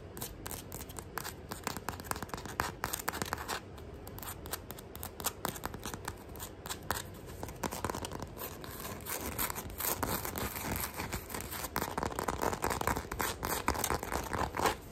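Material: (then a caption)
Rubber. Long manicured nails scratch and tap quickly across the patterned rubber tread on the underside of a black sandal sole, held in both hands. The result is a dense, irregular stream of sharp clicks and scraping rasps that grows busier and louder in the second half.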